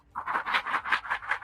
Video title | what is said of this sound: Learning Valuable Life Lessons From Heilung's Drummers & Connecting With The Spirit Of Our Drums | it's not like a little soft rattle either it's like rocks